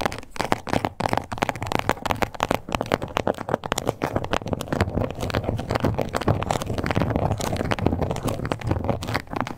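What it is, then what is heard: Faux leather card holder. Long nails scratch and tap across the scales of a small, flat, glossy pink crocodile-embossed faux leather card holder. A dense, continuous run of short, dry clicks and crackly scratches holds steady throughout, with most of its weight in the low and middle range and little brightness.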